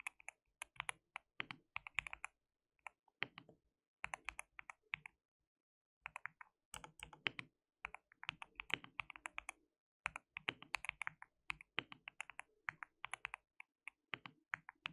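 Fingertips of both hands type on a full-size white plastic mechanical keyboard with translucent and grey keycaps and a backlight. Quick bursts of bright, sharp clacks with almost no ring run in steady flurries, broken by brief pauses around the five- and ten-second marks.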